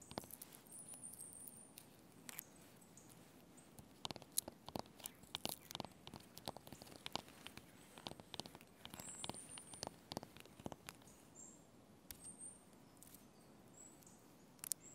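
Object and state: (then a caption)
Birch log bark. Red-painted fingernails and fingertips scratch and tap the papery white bark of a large, solid fallen birch log with a peeled dark patch, lying on dry leaves. Quiet, dry, crisp scratching runs throughout, broken by many sharp, short-lived ticks and taps with a bright edge. Faint high chirps sit in the background.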